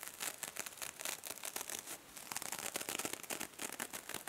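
A small silver metallic mesh-covered foam sponge is held in one hand while fingers squeeze and crumple it and nails scratch across it. The sound is a dense, continuous run of bright, crisp crinkling and scratchy rasps with very little low end. Each burst dies away almost instantly.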